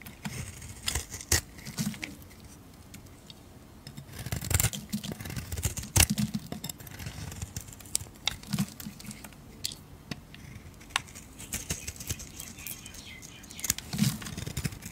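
A metal blade shaves thick curls off a solid, hand-sized pink Dial soap bar held in a hand with teal-painted nails. Quiet, crisp scraping and cutting sounds come in short bursts, with sharp bright clicks and soft low thuds between gentle pauses.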